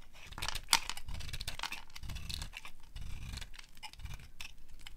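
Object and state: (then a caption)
Dry soap bar being carved. A small metal blade held against a palm-sized, solid, dry yellow soap bar scrapes and carves it, curling off shavings. Repeated dry, crisp scraping strokes carry a bright rasp over a soft low rumble, with one sharper click early on.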